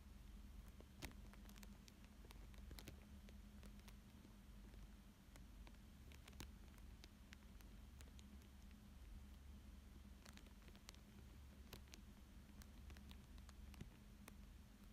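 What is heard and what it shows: Fingertips and nails trace, rub and crinkle a thin clear plastic sheet lying flat over a paper fish drawing. Quiet, soft crinkles and brushing are broken by many brief, bright ticks, over a steady low hum. The sound stays hushed and even throughout.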